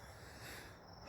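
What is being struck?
Nothing is struck.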